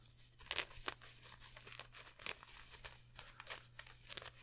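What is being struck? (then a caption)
Polyester mesh jersey. Hands crumple and rub a green polyester mesh football jersey, including its number patches, held close to the microphone. Quick, bright crinkling and scratchy rustles come in uneven bursts over a faint steady low hum.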